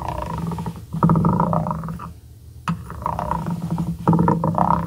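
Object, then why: Small wooden block scraped with a ridged glass pen shaft. The twisted, ridged shaft of a glass dip pen is rubbed across the edge of a small, solid, light-wood cube held by the fingertips. It makes a rough, rasping scrape with a low, buzzy growl in bursts, broken by a short quiet pause. A sharp tap sounds just before the scraping resumes.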